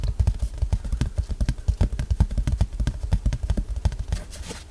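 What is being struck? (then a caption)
Cardboard sheet. Fingertips tap rapidly and steadily on a piece of cardboard that came as an insert with a purchased item. The taps are short, dull, low thuds that die away almost instantly, with almost no high end. The result is soft but not too soft, with a spacey sound.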